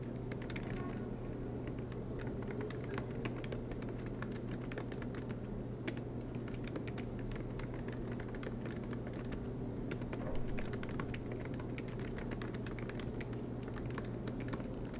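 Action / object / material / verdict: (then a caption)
tap / laptop keyboard, plastic keys in metal body / plastic / none. Fingertips of both hands tap the black plastic low-profile keys of a silver MacBook Pro with an aluminum chassis in continuous typing. Quick, light clicks run steadily over a constant low hum. There are no pauses or loud peaks.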